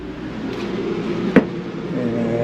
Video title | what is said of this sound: RV Traveling the USA - PART 2 of Motorhome search and winter campground search in Florida | you can tell it's wet or been wet and it sounds hollow